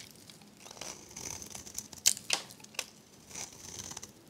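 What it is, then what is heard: Dry soap bar. A metal blade scrapes thin, crunchy shavings from the face of a hand-held, dry, varnished, pink rectangular soap bar. Soft, bright crinkling and scraping runs throughout, broken by three sharper, louder crunches near the middle. Each crunch cuts off almost instantly.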